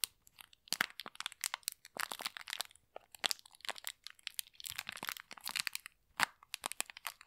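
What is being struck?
Thin plastic packet filled with polystyrene foam beads.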